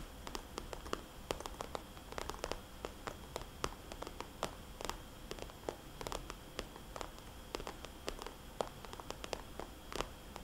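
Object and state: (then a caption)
Plastic cosmetics bag tapped with fingernails. Long polished fingernails tap rapidly on a small red polka-dot glossy plastic cosmetics bag held upright, its hollow pouch giving each tap a short, bright, crisp click. Dozens of quick, dry taps with almost no ring land in an uneven rhythm over a steady low hiss.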